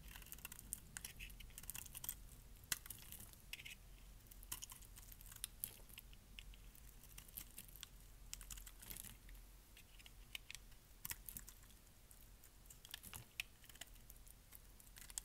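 A metal blade shaves thick flakes off the already carved surface of a solid, dark pink bar of dry soap held in the hand. Quiet, dry, crisp scraping and crackling comes in quick irregular bursts of sharp bright ticks over a steady low rumble. Each snap dies away almost instantly.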